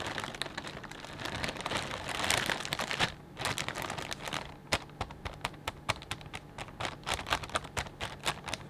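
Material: Plastic.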